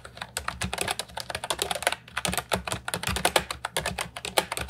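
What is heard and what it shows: Fingertips type continuously on an Ajazz 308I, a compact hollow plastic keyboard with round retro typewriter-style keycaps. A rapid stream of short, bright, clacky keystrokes follows, each dying away almost instantly.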